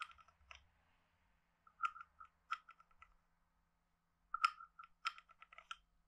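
A wooden stick is scraped across the ridged back of a hand-sized, hollow, carved wooden frog guiro. It makes quiet, irregular bursts of dry, ratcheting clicks with a woody tone near 1.4 kHz and bright edges. Short pauses separate the bursts, and each click dies away almost instantly.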